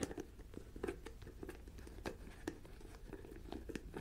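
Long nails tap, scratch and twist the white plastic screw-on lid of a medium jar filled with a pale granular substance that looks like rice or salt. Soft, dry clicks and scraping rasps repeat in quick, uneven succession over a low, quiet background.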